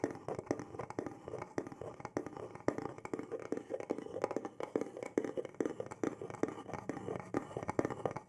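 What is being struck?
Small carved wooden box.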